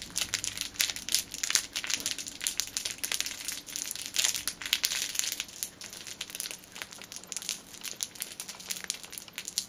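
A small cellophane-wrapped item is held in both hands and crinkled and squeezed with the fingertips and long nails. It gives a steady, dense stream of bright, crackly rustling with many quick, sharp snaps, with almost no low end. The crinkling runs continuously throughout, with louder bursts scattered across it.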